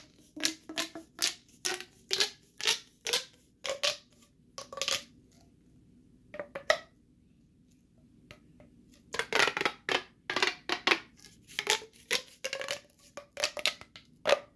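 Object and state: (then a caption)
Plastic pop tube fidget toy. Two bare hands repeatedly stretch and squeeze the ribbed sections of a long, hollow, flexible bright green corrugated plastic pop tube fidget toy. It makes quick bursts of bright, crunchy popping and crackling with a faint mid-pitched tone. The bursts briefly thin out and go quiet in the middle, then return fast and dense.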